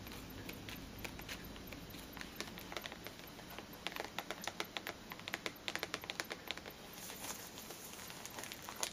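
Long nails tap the sides and top of a small rectangular printed cardboard perfume box, possibly with the bottle inside, held upright on a table. Light, dry taps come in quick irregular bursts that grow denser and sharper in the middle before easing off over a faint steady hiss.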